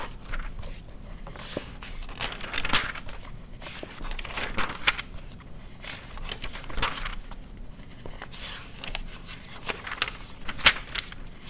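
Fingertips and long nails turn the thin price-table pages of an open glossy paper car magazine from 2009. The paper flutters and rustles in bright crinkling bursts with quick, dry page snaps and a faint low rumble underneath.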